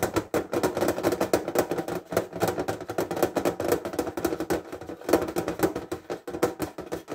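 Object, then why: Small hinged metal tin case. A metal fineliner tin case lies flat on a table with its hinged edge forward while fingertips tap quickly on its lid. The result is a dense run of light, hollow metallic taps with a mid-pitched tone around 300 Hz. Each tap dies away almost at once, and the loudness rises and dips across the stretch.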